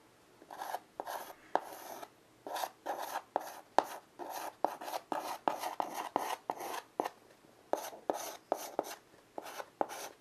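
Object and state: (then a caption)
Chalk drawn across a wood-framed chalkboard. A child's fingers hold a stick of white chalk and scratch lines across the dark surface of a small, flat, wood-framed blackboard lying on carpet. About twenty-two short, dry, rasping strokes are heard, each starting with a sharp tap and separated by brief pauses, with a mid-range scratchy tone and some bright hiss.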